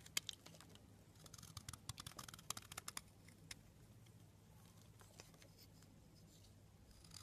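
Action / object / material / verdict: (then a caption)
scrape / soap bar scraped with a metal blade / soap / none. A metal blade scrapes slices off the edge of the same blue soap bar, making crisp, bright scratchy clicks over a low steady hum. A dense burst of sharp scrapes in the first three seconds thins out into softer, quieter scraping.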